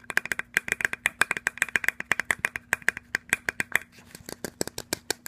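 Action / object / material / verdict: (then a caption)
tap / small plastic squeeze bottle / plastic / none. Fingernails rapidly tap a small, hollow, white plastic lotion squeeze bottle with a flip cap and a barcode label, held in the hand. About 37 quick, dry, clicky taps are heard, each with a short hollow plastic tone near 1.6 kHz. A brief soft scratching passes around the four-second mark before the tapping resumes.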